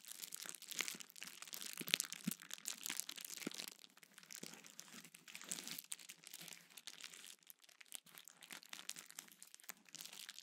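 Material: Plastic.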